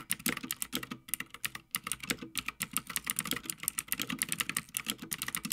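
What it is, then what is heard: Mechanical keyboard being typed on. Fingertips of both hands type continuously on a full-size backlit Havit mechanical gaming keyboard with plastic keycaps on a metal top plate. The result is a rapid, steady stream of crisp, bright clacks with very little low end, each keystroke short and dry with almost no ring.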